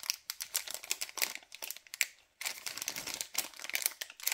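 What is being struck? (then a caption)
LDPE plastic bag of cable ties. Fingers crinkle and squeeze a white LDPE plastic bag of cable ties, making a dense run of bright, crisp crackles with almost no low end. The rustling stops briefly just past the midpoint, then resumes just as busily until the end.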